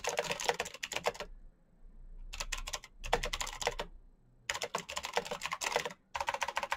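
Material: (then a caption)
Plastic. Fingertips type rapidly on a black plastic mechanical keyboard with RGB backlit keycaps and clicky switches. Bursts of bright, sharp, clicky keystrokes are broken by short pauses, where a faint low hum remains.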